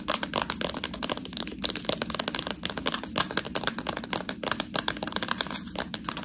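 Long nails tap and scratch along the side of a full, clear plastic package of fresh tortellini held edge-on. The result is a dense run of quick, bright crinkling clicks and scratches with very short decay.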